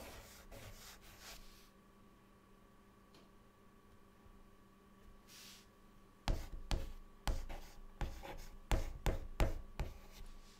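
A white chalk stick held in the fingertips draws and writes on a flat, dark, solid chalkboard. Soft, quiet scratching strokes open the clip, followed by a near-silent stretch with a faint steady hum. Then about ten sharp, bright chalk taps and scrapes come in quick, uneven succession.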